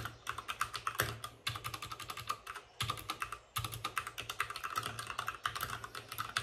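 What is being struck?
Plastic mechanical keyboard.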